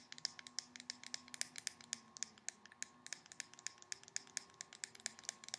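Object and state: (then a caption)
Plastic cosmetic squeeze tube. Long painted nails tap and scratch along the body of a handheld white plastic cosmetic squeeze tube with a black cap, hollow and apparently filled with product. About 37 quick, crisp, bright clicks land in an irregular rhythm, each dying out almost instantly, with light scratching between them. The sound is quiet and thin, with no low end, and a faint steady tone runs underneath.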